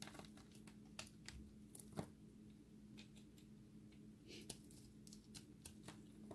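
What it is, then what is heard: Dry recycled soap ball. A solid, dry recycled soap ball with a blue and white layered core is held in the hand and scraped with a utility blade. Quiet, irregular, bright scratchy clicks and crumbly scrapes come in short sharp bursts over a steady low hum. The dry soap crumbles away under the blade.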